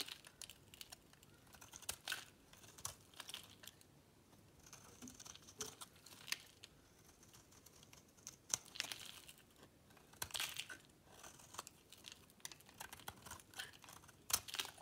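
A metal blade scrapes and carves a dry, solid green bar of soap held in the hand, shaving off dry, crumbly pieces. Quiet, bright, crisp scraping and crackling come in short bursts, with very little low end and almost no ring after each stroke.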